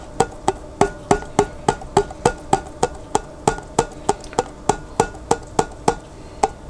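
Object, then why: Glass jar with water. A glass jar containing water is tapped 23 times at a steady pace of about three taps per second. Each tap gives a short, bright clink with a ringing pitch near 400 Hz that dies away almost at once.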